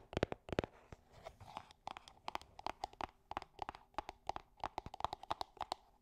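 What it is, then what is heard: Hollow cardboard box. Long nails scratch and tap on the faces of a small, hollow gold cardboard perfume box. About 29 quick, dry, hollow taps are heard, each with a mid-pitched papery knock that stops at once. Soft scratching rustles fill the gaps, mostly early in the clip.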